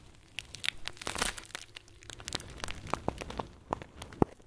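A thumb presses into a round clear plastic bag full of tiny white foam beads, squeezing and crinkling it. Soft crinkles and scattered crackling clicks fill the clip, with a denser rustling burst early on and a few sharper, brighter snaps toward the end. The sound is dry and close, with almost no ring after each crackle.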